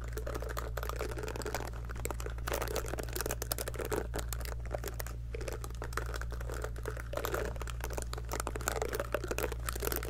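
Long nails pluck and scratch the rows of soft silicone bristles on a small pink heart-shaped scalp massager brush held near a fluffy mic. The result is a dense, continuous run of quick, dry clicks and crinkly rubbing that rises into bright texture, over a steady low hum.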